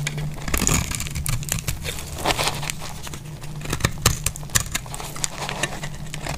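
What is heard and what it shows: A metal blade scrapes curls off the edge of a solid bar of dry green soap held in the hand. Dry, crisp scraping and crinkling bursts with bright, sharp ticks ride over a steady low hum. The strokes come in quick, uneven succession for the whole clip.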